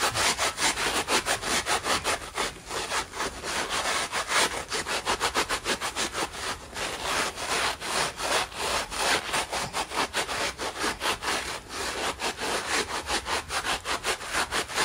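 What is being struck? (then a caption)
Polyurethane foam sponge with nylon scouring pad. A dry, hand-sized, soft kitchen sponge of yellow polyurethane foam with a green nylon scouring layer is held in both hands over a white plastic basin, with loose yellow foam pieces lying in it. Fingertips rub, pull and rip at the sponge. The result is a steady run of quick, scratchy, bright rasping strokes with almost no low end.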